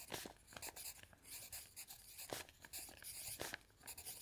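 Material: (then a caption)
Paper. A pencil scratches across a thick stack of lined paper on a table while writing, with the other hand lying flat on an open dictionary. The sound is a quiet, bright scratching made of many short strokes that come in irregular bursts.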